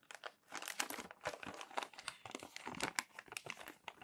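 Hands smooth crumpled pages of thin glossy magazine paper flat with their palms and flip them over. It makes dense, rapid crinkling and crackling, bright and papery, with sharp crackles over a soft rustle and almost no low end.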